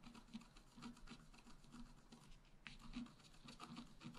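A wooden stylus point is scratched across the black coating of a flat A4-size scratch-art paper sheet with a rainbow layer underneath, lying on a table while the other hand holds it steady. Quick, repeated dry rasping strokes with a low-mid body and a bright, papery scratch come and go with little ring. A sharper, more pronounced scrape stands out partway through.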